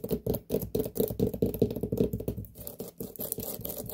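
Long nails scratch and tap the rind of a large, whole, hollow white pumpkin as it is turned to show its base. Quick, uneven strokes and taps each carry a hollow, woody resonance around 440 Hz with light scratchy hiss above. The sound is dry and short, with no ring-out.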